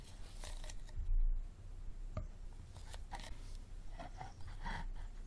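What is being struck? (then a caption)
Plastic water bottle. Fingertips and nails rapidly tap and scratch the ribbed sides of a small, empty, hollow clear plastic water bottle with a green cap standing on a table. Quiet, hollow plastic clicks and brushing scrapes sit over a steady low rumble, with one sharper tick partway through.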